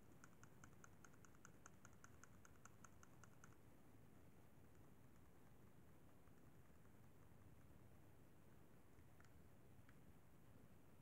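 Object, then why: Plastic handheld game console buttons. Fingertips tap quickly on the d-pad and face buttons of a hollow, silver-white plastic Sony PSP handheld game console, making a fast run of light, bright clicks for about the first three and a half seconds. A steady low background rumble follows, broken only by two faint, isolated clicks near the end.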